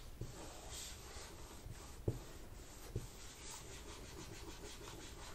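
A wipe is rubbed under the fingertips along the black plastic palm rest at the edge of an open laptop, beside the keyboard. The result is a quiet, steady low swishing rub with a few faint, short knocks mixed in.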